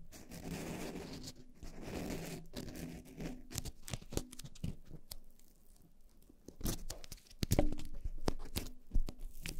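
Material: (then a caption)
Foam. Long painted nails on both hands scratch and tap two soft, porous black foam windscreens fitted on upright microphones. Close, muffled scratching and crinkly rustling fill the first half, then sharper, crunchy taps and brief bright ticks arrive in irregular bursts.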